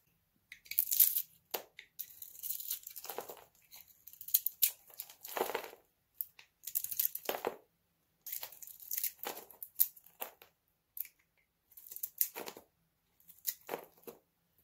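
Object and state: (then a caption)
Dry soap bar being cut. A hand-sized solid bar of dry green soap with a purple rim, held in the palm, is shaved and cut with a metal utility knife blade. Bursts of crunchy, bright scraping and crackling come in repeated strokes with short silences between them, as curls and flakes break off the bar.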